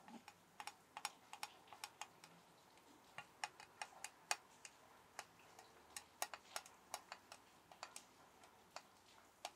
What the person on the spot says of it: Tapping soap tin (deep but crisp tapping)